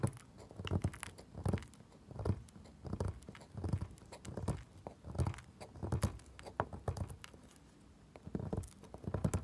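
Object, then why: Bar soap scraped with a metal tool. A solid pale pink bar soap resting on a wooden table is scratched and picked with a pointed metal tool, and powdery chips come off. Soft, low, dull scraping strokes come in an uneven series of bursts, each short with a quick fade, over a quiet background.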